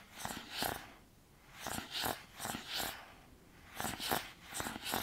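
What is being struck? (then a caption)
Small cardboard box. A small, hollow, white printed cardboard earbud box is held in both hands and tapped and scratched with fingertips and nails. Quiet clusters of dry, papery taps and scrapes come in short bursts with brief pauses between them, each with a bright, hissy edge and almost no low end.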